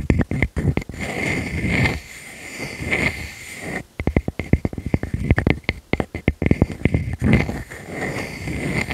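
Long nails and fingertips scratch and rub across the cut face of a palm-sized, solid natural wood slice with a bark edge. Quick, dry scratching strokes alternate with longer, steadier rubbing passes. The texture is close and heavy in the low end, with a faint high hiss over it.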